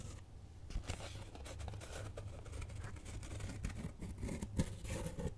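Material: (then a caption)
Cardboard. A flat brown kraft cardboard cutout (possibly thin fibreboard) shaped like a cat's head is held up with both hands and scratched and tapped with long nails. The result is a quiet, continuous run of dry scratching and soft, dull taps that die away almost instantly. The sound sits mostly in the low end with very little brightness.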